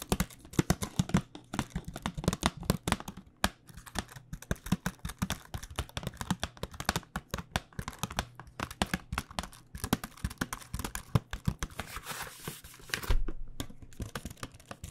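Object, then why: Cardboard box holding paint pens. A flat printed cardboard box of paint pens, with the pens inside, is held in hand and tapped with long dark-painted nails. Rapid, dense clicking taps come in quick bursts, crisp and dry with almost no ring, over a low hum.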